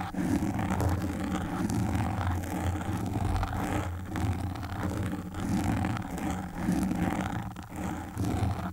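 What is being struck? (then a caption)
Foam microphone windscreen. Single long pink nail tips scratch the black foam windscreen of a desktop microphone. The result is a steady, muffled rasping and rustling, heavy in low rumble with little brightness, swelling and easing in waves over about nine seconds.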